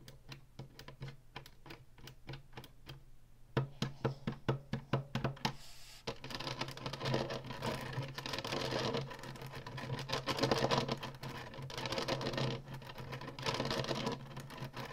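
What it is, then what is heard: Plastic game console tapped with nails. Long nails tap rapidly on the ridged top and button strip of a hollow plastic Atari retro game console. The clip opens with separate, sharp plastic clicks, which by about six seconds run together into a dense, continuous rattle of tapping. A steady low hum runs underneath throughout.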